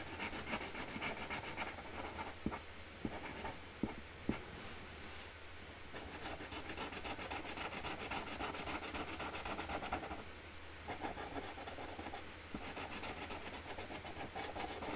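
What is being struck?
Felt-tip marker on a cardboard lid.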